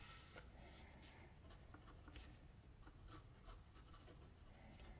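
A metal mechanical pencil tip rubs and scratches shading strokes under the lips and on the chin of a drawing on a flat white sheet of drawing paper lying on a table. Soft, steady scratching and rubbing runs throughout, with brief bright scratchy streaks over a quiet, low hum.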